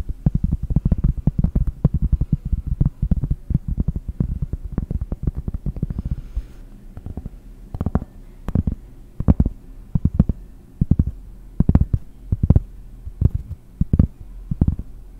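Long painted nails tap a large, round, solid cork trivet held in front of a microphone. For about the first six seconds the taps are rapid and dense, then they slow to sparser, separated taps. Each tap is a dull, low thud with no ring.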